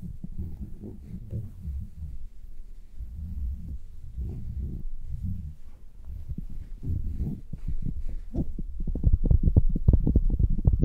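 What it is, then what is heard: Faux fur earmuffs being scratched. Fingers with long nails rub and scratch the outer fur of red synthetic-fur earmuffs sitting on a mannequin head. The sound is a deep, muffled rumbling and soft thumping, almost entirely low in pitch, with quick, repeated pulses. It grows louder and more distinct in the final few seconds.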